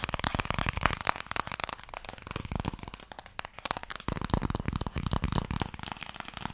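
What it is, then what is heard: Wooden Mikado box. Fingertips and nails tap rapidly on a small, closed, pale wooden Mikado box, a hollow box that holds sticks. The result is a dense stream of short, dry clicks with a bright edge over a hollow low knock, each dying away almost instantly. The tapping softens briefly in the middle and then picks up again.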